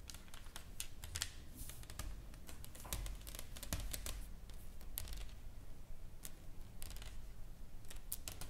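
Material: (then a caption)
Wood. A solid, flat wooden plaque painted with flowers and lettering lies on a table and is tapped and scratched with long fingernails. Quick, dry, bright clicks patter irregularly over soft scratchy rubbing, with a low muffled rumble underneath. Each tap dies away almost at once.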